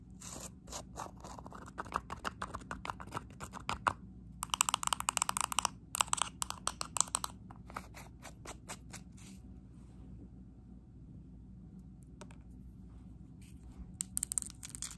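A small plastic bottle of neon paint with a green cap, held in one hand, is tapped and scratched quickly with long acrylic nails. Dense bursts of sharp, bright clicks and scratches run for about eight seconds, then fade to a faint hiss with only scattered ticks. A final flurry of taps returns at the end.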